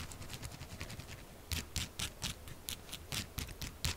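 Long acrylic nails tap fast on the top of a solid pink soap bar lying flat. A soft, quick patter of bright, crisp clicks gives way after about a second and a half to louder, sharper taps, each with a dull low thump.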